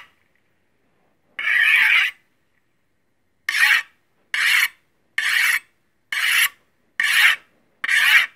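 A steel chef's knife has its long, solid steel blade drawn repeatedly against a steel honing rod in a metal scraping action. Seven separate bright, rasping strokes are heard: one longer opening pass, then six shorter, quicker ones, each with a sharp start and a brief fade.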